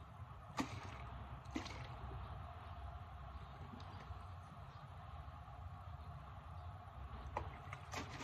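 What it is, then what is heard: Plastic alcohol bottle tapped with nails. A plastic isopropyl alcohol bottle is turned in the hands while long nails tap its label and base, giving short, sharp clicks with a quick decay. The taps cluster near the start and end over a steady low rumble and faint handling noise.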